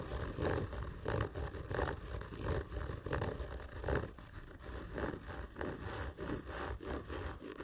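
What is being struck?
Hollow cardboard tube.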